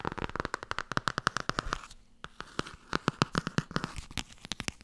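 Long nails rapidly tap and scratch the cover and edges of a blue Tarot hardcover book held in the hands. Quick, dry, sharp clicks come in dense bursts with almost no ring, broken near the middle by a short soft scratching stretch before the tapping resumes.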